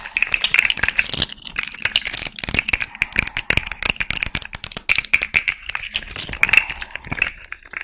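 A small rainbow plastic fidget slug made of hollow, jointed segments is held in both hands while long red nails tap and scratch it and the segments are bent. It produces a dense, bright run of quick clicking taps, scratches and rattles with almost no low end, and each click dies away almost instantly.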